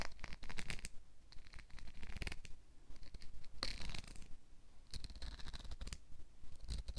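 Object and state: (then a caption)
Plastic comb strummed. A hand-sized black plastic wide-tooth comb is held in one hand while fingernails and fingertips strum and scratch across its teeth. Quick bursts of bright, dry, raspy clicking come in uneven runs, with a few sharper strums standing out over a faint low rumble.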